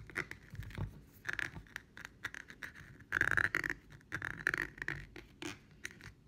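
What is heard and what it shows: A medium glass jar candle filled with pink wax, with a white label band and a labelled base, is held up and turned in the hands while long painted nails scratch along the glass and the bottom. A quick run of light, crisp scratches and taps carries a ringing glassy tone around 1.6 kHz, with the densest, loudest scraping midway through.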